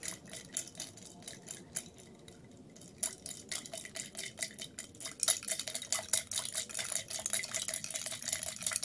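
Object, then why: Glass tumbler with ice and liquid. A tall clear glass tumbler holding ice and purple-tinted liquid sits on a white plate. It is held in both hands while long red nails tap and scratch it, and the ice is swirled and shaken inside. Quick, bright clinks and scrapes come at an uneven pace, with brief ticks that die away almost instantly. The sound starts sparse and soft, then grows busier and louder after about five seconds.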